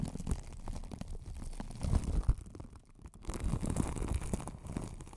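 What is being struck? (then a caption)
Microphone wrapped in plastic cling film. Long acrylic nails scratch and tap over the crinkly clear plastic cling film wrapped around a hollow white spherical desk microphone with a metal mesh grille, covering both its body and grille. The result is a dense, close, low rumbling crackle of scratching and soft tapping, with a brief quieter lull near the middle before the scratching picks up again.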